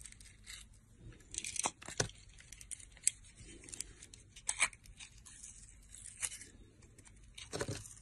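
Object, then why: Bar of soap cut with a metal blade. A metal blade shaves and cuts a solid oval blue soap bar with a green glitter rim. Crisp, bright scraping and tearing strokes come in irregular bursts, with sharper cutting snaps standing out over a quiet background.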